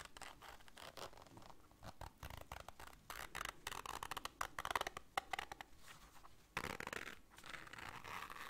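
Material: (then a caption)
Fabric. Long nails scratch the fabric and zipper teeth of a small black zippered case held in both hands. The result is a quiet run of dry, rapid scratching and clicking strokes with a bright rasp centered in the mid-range, each stroke stopping dead with no ring.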